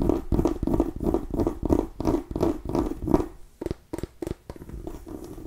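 A small orange and cream striped mini pumpkin with a hard ribbed rind is held against the mic and scratched with long nails along its ribs. A quick, steady run of rough, hollow-sounding strokes with a low-mid tone gives way to a few shorter, sharper scrapes that are spaced further apart. The sound is dry, close and quickly damped, with no ring.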